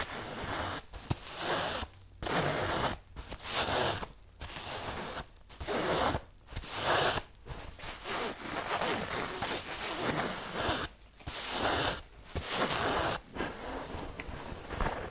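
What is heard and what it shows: Long nails scratch the cotton cover of a small, soft, stuffed pink and white patterned fabric pillow. Bursts of dry, bright, scratchy rasping come in an uneven rhythm, separated by brief pauses.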